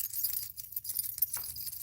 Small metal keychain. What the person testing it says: It's ringing. It's just a little metal keychains.